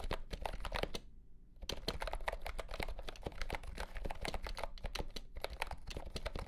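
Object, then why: Compact plastic keyboard with round keys. A compact pastel green plastic keyboard with round keycaps and a hollow body, under green light, is typed on with fingertips. Quick, dry, clacky key taps come in a steady rapid stream, pausing briefly near the one-second mark before resuming. Each tap is short with almost no ring and has a hollow low undertone.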